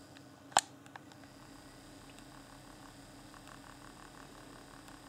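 A fingertip taps and clicks the buttons beside the D-pad on a hand-sized, hollow, transparent plastic Xbox One Afterglow game controller with its yellow LED lit. One sharp, bright plastic click stands out early, followed by a faint tick and then soft, quiet taps over a steady low hum.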